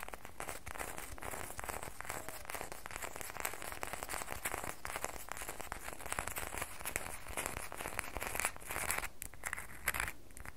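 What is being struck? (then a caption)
Solid bar of soap. Long fingernails scratch a solid red bar of soap held in both hands, making a dense, continuous crackling scrape. Quick bright clicks ride over a steady low rumble at an even level throughout.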